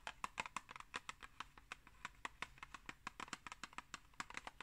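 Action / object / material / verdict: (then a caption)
tap / cardboard tea box / cardboard / none. A tall, hollow, rectangular Pukka tea box made of printed cardboard is held upright and rapidly tapped with long acrylic nails on its flat front. About 28 quick, dry, bright clicks come in an uneven flurry, each dying almost instantly over a faint, quiet background.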